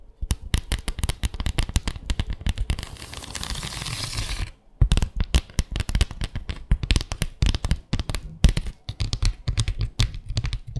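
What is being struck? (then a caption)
Bamboo slat mat. Long acrylic nails tap rapidly across a small, flat bamboo slat mat, producing crisp, dry clicks with a low thump and very short decay. Midway the tapping gives way to a steady, bright scratching across the slats, followed by a brief pause before the quick tapping resumes to the end.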